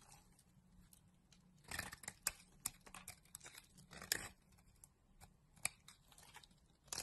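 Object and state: Bar soap.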